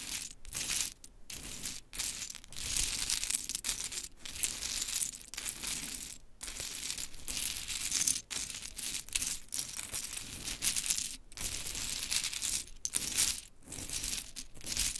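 Long chrome nails scratch and rake through a pile of pink painted wooden mini clothespins, making the pieces knock together. A dense, bright rattle of dry clicks and scraping runs throughout, with brief quiet gaps between passes and almost no low end.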